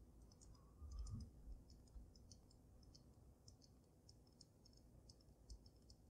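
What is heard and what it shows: Long nails tap on the top of the glass dome of a water-filled dragon snow globe, producing quiet, irregular bright clicks and ticks. A soft low rumble runs underneath, with a brief louder low thump near the start.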